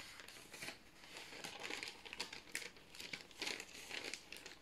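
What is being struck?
Parchment baking paper sheet.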